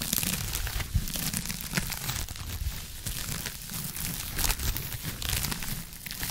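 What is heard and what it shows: Long acrylic nails scratch a blue textured foam scrub sponge held in one hand close to the microphone. Steady, dense crinkling and scratching fills the clip, with a bright hiss on top and a soft low rumble underneath, swelling slightly in places without clear breaks.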